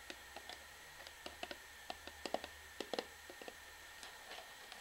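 An orange plastic shampoo bottle, held sideways, has its bottom end tapped with long fingernails. The result is an irregular run of quiet, dry, clicking taps, each dying away almost at once, with a hollow plastic tone around 660 Hz and a bright edge. A faint steady hum sits underneath.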